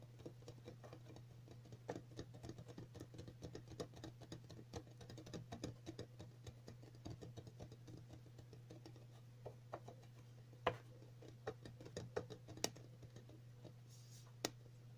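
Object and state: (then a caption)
Plastic round container lid. Long natural nails of both hands tap quickly on a hollow, round, glossy printed flea-collar container lid, probably plastic. The result is a busy patter of light, dry clicks with very short ring and a few sharper, louder taps, all over a steady low hum.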